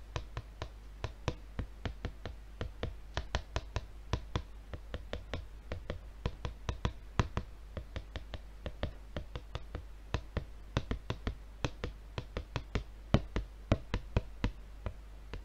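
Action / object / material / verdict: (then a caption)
tap / plastic-wrapped paper refill pad / plastic film / none. A red plastic-wrapped paper refill pad is held up and tapped repeatedly with the fingertips of both hands. About 59 quick, dry taps come in an uneven, rapid rhythm. Each tap is short and soft with little ring, set over a low, steady background hum.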